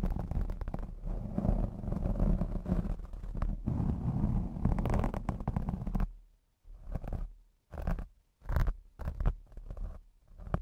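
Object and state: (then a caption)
Foam microphone windscreen. Long blue acrylic nails scratch and rub a black foam windscreen on a Blue Yeti X microphone, making a deep, muffled, rumbling scrape. The first six seconds are a continuous dense rubbing, then the sound breaks into short separate scratching bursts with near-silent gaps between them.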